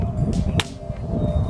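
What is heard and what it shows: A decorative Anathar fantasy sword, a metal blade with a plastic handle made for display rather than use, is struck, giving two brief dull thuds with low, heavy body and almost no ring. The flat, dead sound marks the blade as poorly made.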